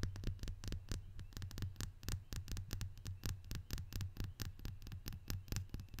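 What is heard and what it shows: A small, round, hollow glazed ceramic salt shaker, painted green, white and red with a fabric bow tied at its neck, is held in both hands and tapped and scratched on its body with long fingernails. Quick, irregular, bright clicking taps follow one another rapidly over a steady low throbbing hum.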